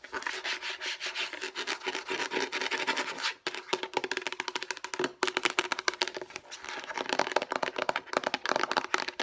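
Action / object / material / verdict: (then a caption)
scrape / plastic food storage container / plastic / none. Long painted nails rapidly scratch and rub across the surface of a hollow, light blue rectangular plastic food storage container. The result is a dense, bright, dry scraping and clicking texture with a faint hollow resonance. It pauses briefly at about 3.4 and 5.1 seconds before continuing.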